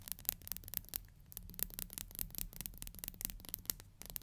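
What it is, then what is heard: Plastic comb. A thin, solid black plastic hair comb has its fine teeth strummed and scratched by long nails. The result is a quiet, rapid run of dry, bright ticks and scrapes over a low background rumble, each tick stopping almost at once.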